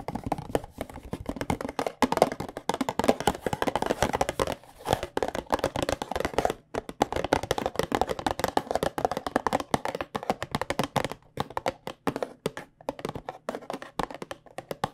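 A small white cardboard box of Tulsi tea bags, held in both hands, is tapped rapidly on its faces with long painted nails. The result is a dense stream of short, dry, hollow midrange taps with almost no ring, broken by a few brief pauses.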